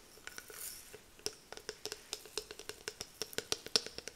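Long nails tap and scratch on the hard, patterned plastic back of a small detangling hairbrush with a clear handle. About twenty quick, bright clicks with a faint high ping ring out, with a brief soft scratch early on. Each tap dies away almost instantly.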